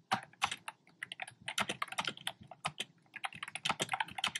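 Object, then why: Plastic keyboard with round plastic keycaps. Fingertips with short nails type on a black plastic keyboard with round, retro-style plastic keycaps in cream, pink and red, tapping its hollow keys. A quick, uneven run of bright, hollow clacks follows, each dying away almost at once, with very little low end.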